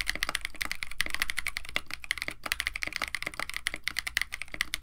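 Both hands type continuously on a compact 65% KBD67 Lite mechanical keyboard with a white case, an FR4 plate, Techno Violet switches and blue and white PBT plastic keycaps. The result is a rapid, steady stream of short, dry clacks with a bright click near 2 kHz over a low thock, each keystroke dying away almost instantly.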